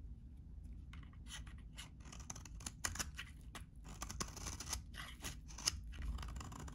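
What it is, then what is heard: Dry soap bar being shaved. A utility knife blade shaves and scrapes a solid, hand-sized, very dry, cream-colored vintage soap bar. Crisp, bright scraping and crunching strokes come in quick bursts over a steady low background rumble, each stroke stopping dead with no ring.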